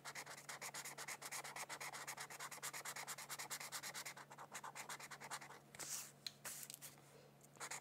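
A felt-tip marker rubs quickly back and forth across the border of a thin white paper mandala sheet lying on a book, making a steady run of dry, bright, scratchy strokes. Toward the end the strokes slow and soften, with a few louder swishes in between.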